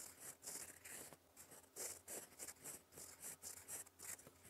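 A gold fountain pen nib writes in black ink on a flat sheet of lined cream paper, scratching across it in cursive strokes. Soft, bright scratching comes in short repeated bursts that swell and fade with each stroke over a faint low hum.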